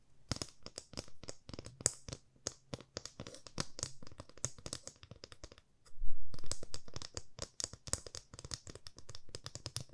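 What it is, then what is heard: Wooden ruler tapped with fingernails. A 30 cm solid light wooden ruler is held flat in both hands and tapped along its edge and face with long fingernails. Rapid, irregular, sharp clicks with bright high edges and very short decay continue throughout. They stop briefly before a louder, lower-toned patch of tapping near the six-second mark.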